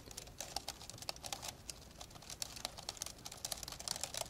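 Both hands type rapidly with their fingertips on the keys of an old 1990s dark grey plastic laptop lying open, with a hollow keyboard deck. A fast, uneven run of bright, sharp plastic clicks follows, each one dying away almost at once with very little low end.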